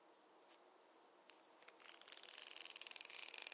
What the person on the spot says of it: the contrast between the soft hair sounds with the wooden tapping sounds